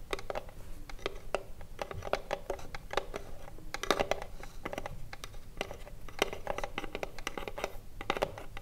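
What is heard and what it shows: Long blue nails tap quickly on the front and top edge of a small hollow wooden cigarillo box, with some scratching along its side. The taps are short, dry clicks with a hollow wooden tone and almost no ring, running as a dense, uneven patter throughout.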